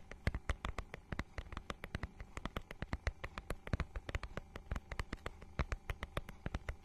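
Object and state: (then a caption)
Textured plastic book cover. A notebook-sized book with a holographic, scale-textured plastic cover is held flat and scratched with long nails. The scratching makes a rapid, steady run of short, dry clicking taps that die away almost at once. Each tap has a low thump underneath and a bright, crisp top.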